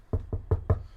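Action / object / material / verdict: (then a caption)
knock / wooden surface / wood / none. A wooden surface is knocked four times in quick succession, each knock a dull, low thud with almost no ring and nothing bright above it.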